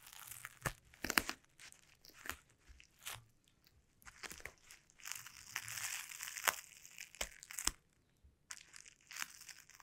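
Taped, sticky fingertips tap and press on a sheet of clear plastic bubble wrap lying on a table, then peel away. The result is a quiet, close series of bright crinkling crackles and sharp sticky snaps, with little low end and brief pauses between bursts.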